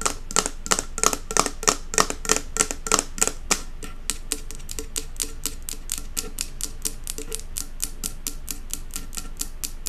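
Long acrylic nails tap fast on the metal lid rim and glass body of a large glass jar candle filled with solid wax. The taps are bright, dry clicks with almost no ring. They are louder and sharper for the first four seconds, then turn softer and quicker until the end.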